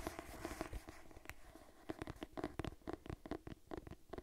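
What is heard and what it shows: Long nails scratch across the cover of a purple cloth-bound hardcover cookbook held upright. The result is a quiet, dry series of quick, rasping strokes, each fading almost instantly, with a faint fabric grain and a low, soft rumble underneath.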